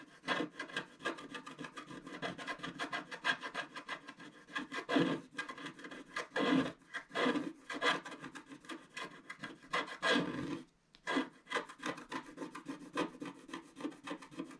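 A wooden stylus scratches across a black wax-coated scratch art card lying flat, etching the flowers on its left side. Quick, dry, raspy strokes run back and forth in a steady rhythm, with a few louder, longer scrapes around the middle. The strokes briefly stop near the 11-second mark, then resume in the same bright, papery rasp.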